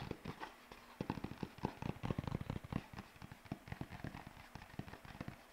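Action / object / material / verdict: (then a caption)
shake / sheet of paper / paper / none. A single white paper sheet is held up by one corner, bent into a curve and flapped with the fingers. It gives a quick, uneven run of dull, low crackling flaps and snaps, with short bursts of rustle between them.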